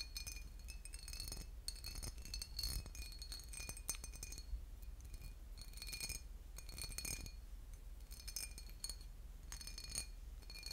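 A boot-shaped glass bottle with liquid inside is tapped and scratched, giving quick, bright glassy clinks and chinks with short rings and scratchy bursts. The sound stays quiet throughout over a low rumble.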